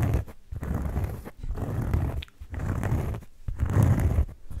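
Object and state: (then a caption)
Cork board, scratched and rubbed. A thin, flat oval cork board is held beside the mic and scratched with the fingertips, then rubbed close to the mic. This makes dense, low, rumbling scratches in uneven bursts separated by brief quiet gaps. The heaviest, boomiest rubbing comes near the end.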